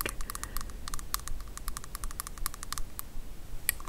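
A filled small transparent plastic shower gel bottle with red liquid and a green cap is held and rapidly tapped with long acrylic nails. The sound is a quick, uneven run of short, sharp, dry clicks that stop almost instantly, over a low, steady rumble.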